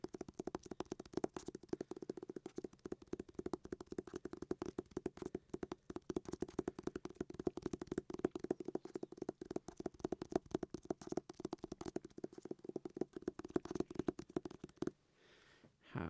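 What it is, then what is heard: Hardback book tapped. A hardback book is tapped in a rapid, steady stream of short, dry taps for about 15 seconds. Each tap is a muffled thud with a low-mid tone and almost no ring. The tapping stops just before the end, leaving a brief quiet tail.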